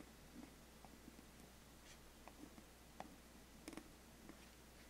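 A thin wooden stick traces and scratches across the lid of a large, flat, closed black glossy cardboard biscuit gift box. It makes a very quiet, dry scraping with a few sharper bright ticks over a steady low hum. Each tick is short and fades quickly.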